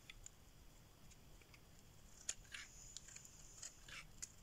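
A solid green bar of dry soap, held in the hand, is shaved with a metal blade so that curls peel off. The result is quiet, crisp, irregular scraping and crackling with sharp bright ticks, mostly high-pitched and with little low end.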